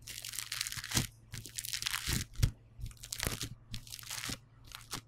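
Fingertips pinch and squeeze a solid, hand-sized yellow lump of polystyrene bead foam clay, producing bursts of crunchy, bright crackling that come in short clusters with brief pauses between them. A steady low hum sits underneath the crackles throughout.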